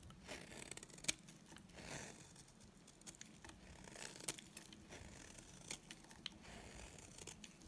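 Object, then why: Bar of soap shaved with a blade. A solid, dry white bar of soap held in the hand is shaved along its edge with a utility knife blade. Quiet, bright scraping and crackling strokes run throughout, with a few sharper clicks, most notably near 1.1 and 4.3 seconds.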